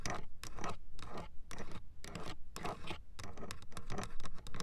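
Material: Hard plastic.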